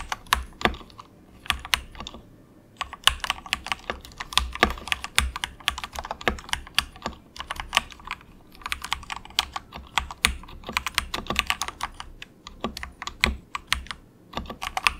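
Fingertips type continuously with both hands on a compact, budget 68-key mechanical keyboard with plastic keycaps, unmodified and straight out of the box. The result is a steady, soft stream of quick, bright clacks that stop almost instantly, with little low end and only brief pauses between bursts.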